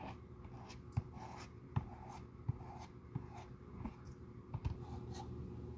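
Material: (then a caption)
Leather. A stiff bristle glue brush is rubbed across the light tan leather outsole of a Jil Sander shoe held in the hand, spreading glue over the solid surface. Quiet, dry scratchy brushing strokes carry low, soft bumps that stand out about eight times, each dying away almost instantly.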